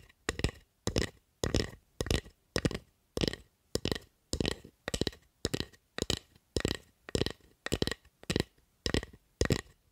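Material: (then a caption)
Wood. Long acrylic nails tap and scratch the surface of a solid, light wooden spatula in seventeen short, evenly spaced bursts, about one every half second. Each burst is a dry, scratchy rustle with a low, hollow knock underneath and bright clicky ticks on top, dying away almost instantly with no ring.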